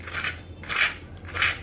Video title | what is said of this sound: दिवाली की बची हुई खील से 10 min में बनाएं नये तरीके का डोसा | I will show you its crunch, see the sound, how crispy it is made